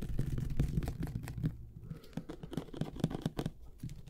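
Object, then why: Plastic glue bottle with paper label. Fingernails scratch the paper label of a medium white plastic glue bottle with an orange cap, held close to the microphone and near the mouth. Dense, irregular scratchy rustles sound muffled and low, with almost no bright content. The scratching is louder for the first second and a half, then continues more softly.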